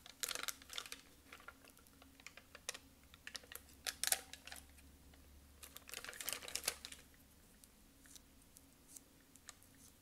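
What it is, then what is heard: Plastic puffy sticker sheet. Long acrylic nails tap quickly on a sheet of bird and flower puffy foam stickers on a plastic backing. The result is bursts of sharp, bright, clicky taps with almost no ring, separated by quieter gaps. A faint low hum runs steadily underneath.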